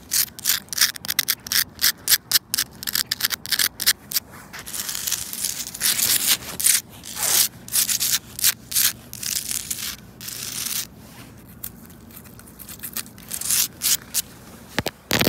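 Long pink and black nails scratch and rub a large, solid grey porous volcanic stone in a garden bed. Dense, bright, gritty scraping comes in quick bursts, with a few longer sustained rubs in between.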